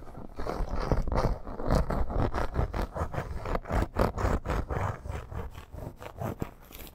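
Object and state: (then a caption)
Faux snakeskin leather bracer. Long nails scratch quickly over a red embossed snake-pattern faux leather bracer with metal studs and grommets as it lies on fur. The result is a rapid, uneven run of short, dry rasping strokes, weighted toward the low end with almost no high-frequency hiss.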